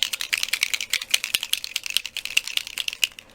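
A small glass bottle of alcohol ink with mica is shaken after being banged on a desk to free its metal mixing ball, which had stuck in the settled mica. Rapid, bright, high-pitched clicking rattles follow as the ball knocks around inside. The ball is loose and the ink is mixing.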